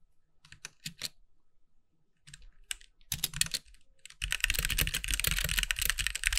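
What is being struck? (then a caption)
Mechanical keyboard with plastic keycaps. A compact backlit mechanical keyboard with white plastic keycaps is typed on with the fingertips of both hands. A few sparse, clacky keystrokes are heard first, then typing picks up after a pause into a fast, dense run of bright plastic clicks with low thocks underneath.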